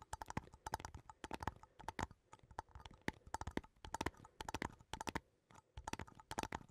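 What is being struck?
Small metal coffee tin.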